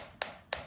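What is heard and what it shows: Two short knuckle-like taps on a spot of aerated concrete wall beside an opened crack give a brief, hollow-sounding knock centered in the midrange that dies away almost at once. The spot sounds hollow but is judged not detached, just shallow behind.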